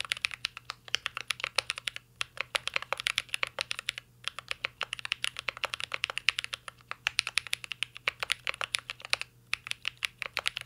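Fingertips of both hands type on a full-size CYBERBOARD R3 mechanical keyboard with an aluminum case, plastic keycaps and Holy Panda switches. Rapid, bright, crisp clacks come in steady bursts, separated by brief pauses. Each keystroke is short and dry, with almost no ring.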